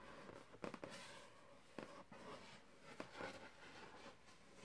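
A fingertip with short nails taps and lightly scratches a large, hollow, air-filled white latex balloon printed with a purple tiger, held on a carpet. Short, soft, hollow thumps with a resonant tone around 480 Hz come in scattered bursts over quiet, faint scratching, each dying away almost at once.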